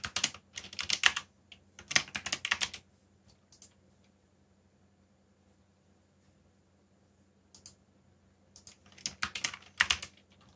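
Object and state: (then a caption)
Plastic mechanical keyboard. Fingertips type fast on a backlit plastic mechanical keyboard with black plastic keycaps, giving quick bursts of bright, sharp clicks. The clatter comes in flurries at the start and end, with a near-silent pause in the middle where only a faint low hum remains.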